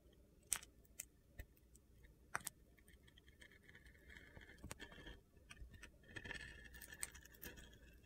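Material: Soap.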